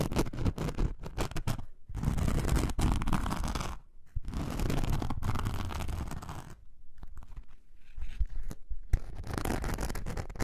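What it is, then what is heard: Glitter foam craft sheet being scratched. Long nails scratch the rough surface of a thin, roughly A4-sized glitter foam craft sheet, first lying flat and then held up. The result is dense, dry, low-heavy scratching in bursts, broken by brief pauses, with no ringing afterward.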